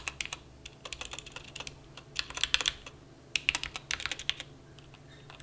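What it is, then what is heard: Mechanical keyboard typing. A plastic mechanical keyboard resting on a felt mat is typed on with fingertip key taps, producing quick, bright, uneven clicks in bursts with short pauses between them. Each tap is sharp and dies away almost instantly, with very little low-end thud.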